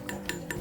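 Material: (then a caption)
Iron. Three taps on the iron handlebar of a Royal RY 9380 children's bicycle during assembly give short, solid knocks with a faint metallic ring. The handlebar is thick-walled, about 1 mm, iron as shown by its welds, and sounds solid as expected.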